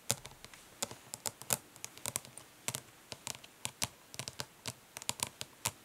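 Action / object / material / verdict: tap / plastic makeup palette tapped with fingernails / plastic / none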